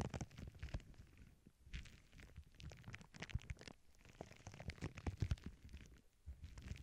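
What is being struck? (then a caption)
Plastic bubble wrap sheet. Both hands with long painted nails press, rub and scratch a flat sheet of clear plastic bubble wrap lying on a cork board, with earbud microphones resting on the sheet. The result is a dense, low, rumbling stream of crackles and scrapes with many short, dry snaps. It comes in uneven bursts with brief quieter gaps.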